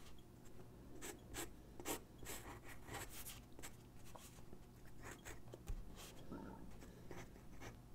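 A graphite pencil sketches and shades on a single white sheet of drawing paper resting on a wooden desk. Irregular bright, scratchy strokes and softer rubbing sweeps repeat throughout over a steady low hum.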